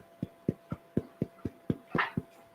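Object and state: Hollow-sounding baked sourdough loaf.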